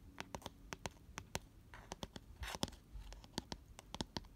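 Fingernails scratch the inner bottom of an open, empty, round cardboard box lying on its side and lined with white paper. A quick series of short, dry, papery scratches is heard, with a couple of longer rasping scrapes in between. Each scratch stops almost instantly with no ring.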